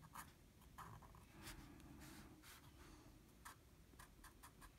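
A blue felt-tip marker colors small areas on a flat sheet of drawing paper, its tip rubbing the paper. Short, soft scratchy strokes come at an uneven pace, with brief bright swishes over a quiet, low background rumble.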